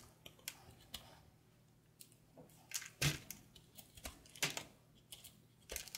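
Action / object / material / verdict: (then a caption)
scrape / ball of bar soap carved with a small knife / soap / none. A small patterned knife carves and scrapes flakes off a solid, palm-sized ball of dried, speckled soap held in an open palm. A quiet series of short, crisp, bright scraping and crackling cuts is heard, with a few louder cracks as flakes break away. Each cut dies away almost at once into a low background hum.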